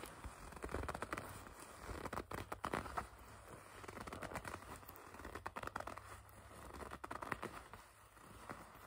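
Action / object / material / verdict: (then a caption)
scrape / leather jacket / leather / none. Fingertips with long red nails grip and rub a black leather jacket, producing soft, close creaking and crinkling. The quiet scratchy rustles come in uneven bursts with brief swells of friction, and no voice is heard.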